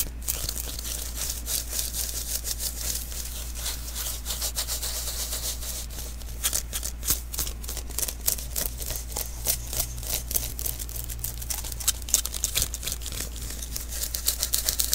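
Fingers quickly pat and peel from the tacky surface of a small, hollow sticky lint roller refill (an adhesive paper roll) held in the hands. The result is a fast, irregular stream of bright, crackling peels and soft taps over a steady low hum, growing sharper and more pronounced toward the end.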